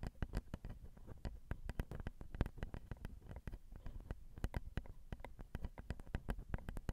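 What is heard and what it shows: Long acrylic nails with rhinestones tap the slotted metal grilles and champagne-colored plastic/metal housing of a Zoom handheld recorder's XY microphone, whose capsules are two small hollow cylinders. The result is a quick, irregular stream of short, dry taps that thump heavily in the low end right at the capsules, each dying away almost instantly.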